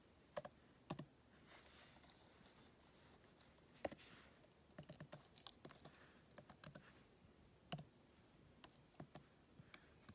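Fingertips with painted nails press and tap the black plastic keys of an open MacBook keyboard set in an aluminum body, typing. Sharp, dry key clicks sound in uneven bursts, each dying away almost instantly, with softer tapping and faint scratchy rustle between them.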